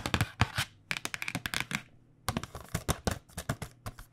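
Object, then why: Cardboard box of pens. Long nails tap quickly on the back face of a tilted, printed cardboard box of paint pens. The crisp, bright clicks carry a hollow low thump and come in two rapid bursts separated by a brief pause.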